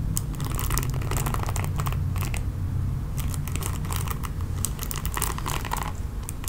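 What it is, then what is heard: Plastic paddle hairbrush bristles scratched. Long painted nails scratch and rake across the dense bristle pad of a red plastic oval paddle hairbrush with a hollow body. Dense bursts of crackling, bright scratchy clicks come in waves over a steady low rumble that holds the level even throughout.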